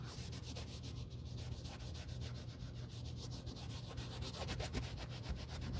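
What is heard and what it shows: A white cloth over a gloved finger wipes and rubs the toe and heel of a hollow black leather UGG men's boot during cleaning. Steady, soft rubbing strokes scuff across the leather, each with a brief bright swish over a low, constant hum. The strokes quicken and grow slightly louder toward the end.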